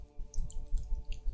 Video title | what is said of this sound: Warhammer Fantasy 5th Edition Unboxing! | They still have paint in. They still aren't dried out.